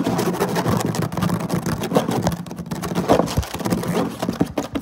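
Fingertips and short nails of both hands scratch quickly across a flat woven synthetic-fiber placemat, likely a plastic or vinyl weave, lying on a table. The result is a dense, continuous scratching and rasping texture with a heavy low-mid body, fast uneven bursts, and little high-end sparkle.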